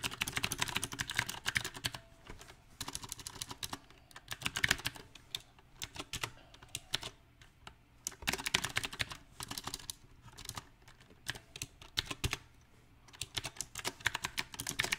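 Fingertips type on a compact backlit mechanical keyboard with round plastic typewriter-style keycaps, producing rapid bursts of crisp, bright key clicks. Short pauses break the typing into irregular runs, and each tap dies away almost instantly.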